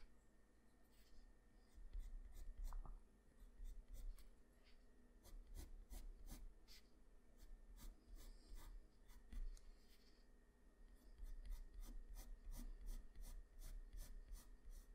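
A black wooden pencil, held in the fingers, draws on a flat sheet of white drawing paper with its graphite tip. Quiet rasping, scratching shading strokes come in bursts of short, bright scrapes over a low background hum.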